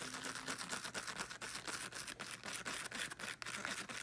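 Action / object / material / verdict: scrape / small speaker with woven fabric cover / woven fabric / none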